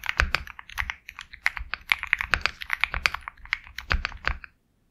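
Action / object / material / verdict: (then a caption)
tap / mechanical keyboard with plastic keycaps / plastic / none. Steady fingertip typing on a Sugar65 compact 65% mechanical keyboard with KTT Kang White switches, a black case, and white and black plastic keycaps. It makes a quick run of short, crisp, bright clacks with a light low thock under some strokes and almost no ring. The typing stops just before the end.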